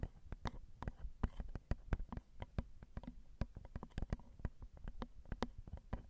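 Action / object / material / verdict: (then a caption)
tap / metal microphone capsules on a handheld recorder / metal / none. Long acrylic nails tap the small, hollow, crossed silver metal X/Y microphone capsules on a Zoom recorder. A quick, irregular stream of soft taps lands as dull, low thumps with brief bright clicks, each dying away almost instantly.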